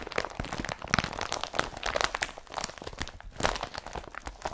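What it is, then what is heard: Woven polypropylene carrier bag. Long fingernails scratch and rub an empty blue IKEA BRATTBY woven polypropylene carrier bag lying flat. The result is a dense run of dry, crunchy crinkling scrapes with sharp bright bursts. Each stroke cuts off almost instantly with no ring.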